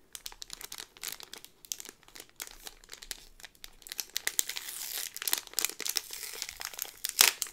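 A yellow cardboard pin backing card in a clear thin plastic bag is handled, with fingertips and long nails crinkling and rubbing the plastic. Many quick, bright crinkles and rustles come in uneven bursts, building into denser, louder scratchy crinkling toward the end. There is almost no low end, and each crackle dies away instantly.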